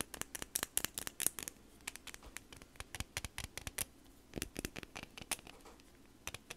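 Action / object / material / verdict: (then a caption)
tap / plastic highlighter pen / plastic / none. Long nails tap and scratch along the length of a slim, hollow green plastic highlighter, with the cap end shown. Dozens of sharp, dry clicks come in uneven bursts over a soft scraping hiss, each one bright and dying away almost instantly.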